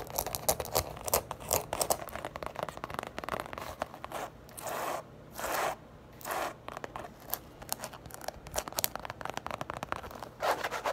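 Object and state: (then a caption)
Leather wristlet pouch scratched and tapped. A small, flat, hollow light-grey Coach leather zip wristlet pouch, held in the hands, is tapped and scratched on its leather surface with long acrylic nails. Rapid, dry clicking taps alternate with several longer, hissing scratch strokes in the middle and at the end. The sound is bright and crisp with very little low end, and each tap stops short with almost no ring.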